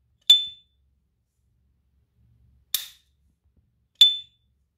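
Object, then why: Silver-plated metal lighter. A small S. T. Dupont Ligne 2 Diamond Head Montparnasse lighter, with a hollow silver-plated metal case and a diamond-head guilloché pattern, is held in a white cotton-gloved hand while its hinged metal lid is flicked open and snapped shut. Three bright metallic pings sound, separated by silence. Each ping rings with a high tone near 3.5 kHz and fades quickly.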